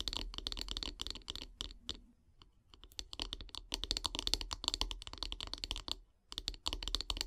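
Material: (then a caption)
Wood. Long grey nails tap quickly along the solid wooden handle of a bristle brush, making rapid, bright, dry clicks with a faint low thump underneath. The tapping comes in dense bursts, with a brief lull around the two-to-three-second mark and a short pause near six seconds before it resumes.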